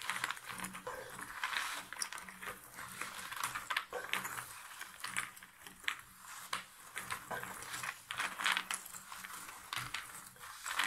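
Both hands with long nails scratch and rake through a pile of cardboard jigsaw puzzle pieces in a shallow box lid. The result is a dense, continuous rustle of dry, bright crackles and quick clicks, with the pieces shifting and tapping against each other in uneven bursts.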